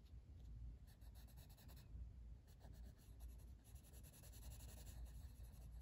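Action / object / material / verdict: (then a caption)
scrape / wooden colored pencil on a paper coloring book page / paper / none. A blue wooden colored pencil, held in the fingers, rubs shading strokes across a flat paper page of a coloring book lying on a table. The result is a soft, steady scratchy rasp with bursts of bright grain over a low, quiet rumble.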